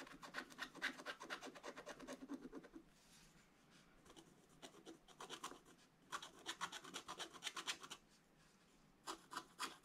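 A wooden stylus scratches fills into a black coated scratch-art paper page in an open book. Quick, dry, bright rasping strokes come in bursts, with quieter pauses around the third to sixth second and near the eighth second before a final flurry.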